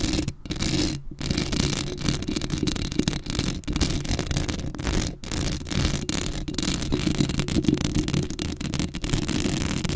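Long acrylic nails scratch across a black hollow metal mesh microphone grille in a close, continuous rasping scrape. The sound is heavy in low, boomy rumble with a gritty hiss on top. It is broken by a few brief pauses as the nails lift and resume.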